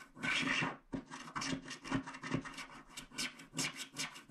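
A wooden stick scrapes the left black strip of a small, flat paper scratch art card with a black wax coating in rapid strokes. Each stroke makes a dry, bright, rasping scratch with a faint low tone beneath it. The strokes come in quick bursts with brief gaps between them.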